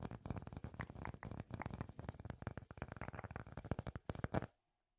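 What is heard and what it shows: A solid, palm-sized round slice of natural wood with visible growth rings is held in both hands and tapped and scratched with fingertips and nails. A fast, dense run of soft, dull taps and scrapes carries a low, woody thud, with little brightness and almost no ring. The sound stops abruptly after about four and a half seconds, leaving silence.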